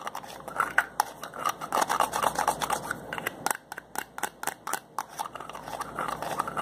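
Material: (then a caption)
Plastic. A hand twists the cap of a slim white plastic bottle, making a rapid series of sharp plastic clicks and ticks over a dry, rasping scrape. The sound is bright and quiet, with almost no low end, and each short click dies away almost instantly.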